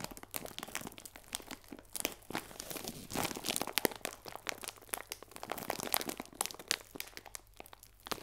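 A clear plastic bag full of hazelnut biscuits, tied at the top, is held and squeezed in both hands with painted nails. It gives a steady run of bright, dense crinkling and crunching with many quick, sharp crackles. The sound is thin in the low end and has no ring after each crackle.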